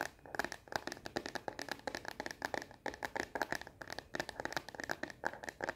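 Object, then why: Plastic phone case on a smartphone. Long nails tap fast on the back of a frosted plastic phone case fitted on a solid, hand-sized smartphone. The result is a rapid, uneven stream of dozens of dry, clicky taps with a bright edge and almost no low end. Each tap dies away almost instantly.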